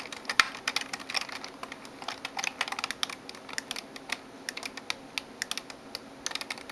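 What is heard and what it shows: Long nails type and tap on the plastic keys of a backlit plastic gaming keyboard. A quick, irregular run of sharp, bright clicks and clacks rises over a quiet background, each one dry and dying almost at once, with no deep tones underneath.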